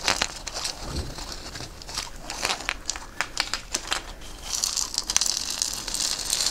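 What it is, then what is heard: Beaded gourd shaker. A hollow, head-sized dried gourd wrapped in a string net of red and white beads is held in one hand and scraped and tapped with a small wooden stick, so the beads rattle against the shell. The sound is a bright, crinkly rattle of quick, dry taps and scrapes with almost no low end. It swells into a denser, hissing shimmer toward the end.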